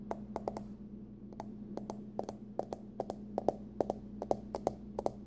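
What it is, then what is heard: Aluminum card wallet tapped with nails. Long nails tap and scratch the curved top of a small, hollow, closed hard-shell card wallet with a pumpkin print, likely aluminum. A quick, uneven series of sharp, bright clicks rises over a steady low hum. Each tap dies away almost at once, with a faint hollow mid-range knock.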